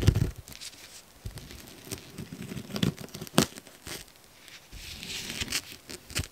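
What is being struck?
Frozen foam sponge scraped with a metal fork.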